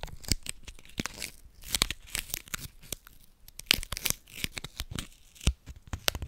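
A small crumpled piece of thin, hollow silver aluminium foil from a candy wrapper is held in both hands in front of the microphone and crinkled and rubbed between the fingertips. The result is a steady stream of crisp, bright crackles and sharp snaps, with short quieter rustling gaps between the louder bursts.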